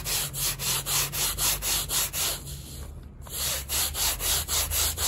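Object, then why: Wet woven textile rug scrubbed with a bristle brush. A gloved hand scrubs the pile of a small, flat, fringed woven rug, wet with soap spots and mud and laid on a plastic sheet, using a handheld bristle brush. Thirteen bright, rhythmic scratching strokes rub back and forth at a steady pace, with a brief softer lull around the middle before the brushing resumes.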